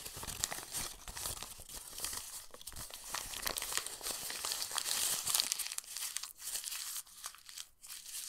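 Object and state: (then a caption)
Old paper page crumpled. A yellowed, printed page from an old paper book is held open, then squeezed and crumpled in both hands into a wrinkled ball. Dense, bright crackling and crinkling rises and falls in irregular bursts. The noise thins into sparser rustles near the end.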